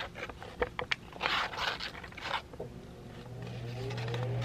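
A wrinkled white sheet of printer paper is crinkled, stretched and balled up with both hands, giving sharp crackles and dense bright rustling bursts. The crinkling fades into a quieter stretch where a low steady hum and a faint rising tone grow louder toward the end.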